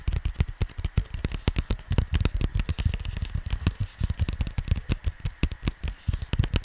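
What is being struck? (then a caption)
Cardboard vinyl record sleeve. Fingertips of both hands tap and scratch the glossy printed cardboard of a square vinyl record sleeve lying flat. Rapid, uneven, dull low thuds with almost no ring are heard, mixed with faint dry scratching throughout.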